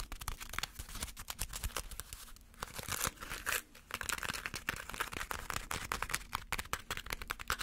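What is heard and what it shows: A small crumpled ball of aluminum foil is held between the fingers and tapped with fingernails. Rapid, uneven taps blend into a steady, bright crinkling and crackling with short, sharp peaks and no ring. The texture stays dense and papery throughout, with only brief lulls.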